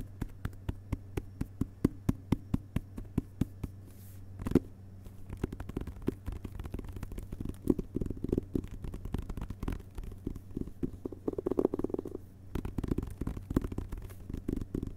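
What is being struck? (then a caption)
Hardcover book with paper dust jacket. A hardcover book with a glossy paper dust jacket lies flat on carpet while fingertips tap its cover, first with one hand in a steady, evenly spaced rhythm, then with both hands in faster, denser flurries. The taps are soft, dull and short, with almost no ring and no bright edge, over a low steady hum.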